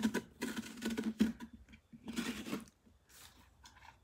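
Long dark-painted nails scratch and rub across the ribbed rind of a large orange pumpkin, its visible side uncut, held steady with one hand on a wooden workbench. Uneven bursts of dry, hissy scratching carry a low hollow tone around 220 Hz, with short pauses between strokes. The rubbing grows fainter and lighter toward the end.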